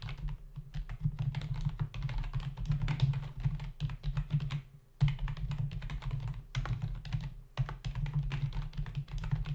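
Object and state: Plastic computer keyboard.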